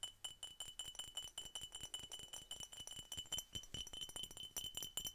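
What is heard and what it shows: Rapid, uneven tapping on a glass Coca-Cola bottle gives a string of quick, bright clinks. Each tap carries a short high ring near 3 kHz that fades almost at once.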